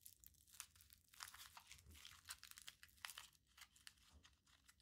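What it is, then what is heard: Crumpled aluminium foil ball. A small crumpled aluminium foil ball is pinched and rubbed between the fingertips. The result is a quiet, bright crinkling and crackling with many short, sharp crunches.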